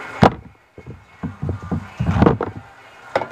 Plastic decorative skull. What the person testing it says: if you want to try this tap the thing make sure it's hollow inside